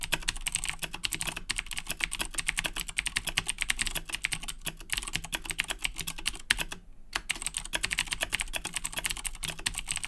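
Both hands type steadily with their fingertips on a black plastic Razer BlackWidow 2010 Edition mechanical keyboard with Cherry MX Blue switches. A rapid, continuous stream of bright, crisp clicks with a faint low thud under each keystroke, pausing briefly around the seven-second mark before resuming.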